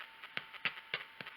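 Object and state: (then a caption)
Hollow-sounding, baked-through bread loaf. A freshly baked, golden-brown Italian bread loaf resting on a cooling rack is thumped four times, with softer taps in between, giving short, dry, hollow knocks. The hollow sound means the bread is most likely done.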